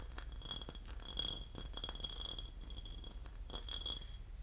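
A porcelain lid is tapped and scratched, giving a run of quick, bright ceramic clinks with a thin high ring. Each clink dies away almost at once, over a soft scratching texture and a steady low hum.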